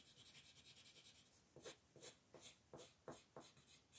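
A wooden colored pencil shades the antlers on a thin white paper coloring sheet resting on a table, using rapid back-and-forth rubbing strokes. Quick, soft, bright scratchy strokes run together at first, then give way to slower, louder, separate rasping strokes with a hissy high edge.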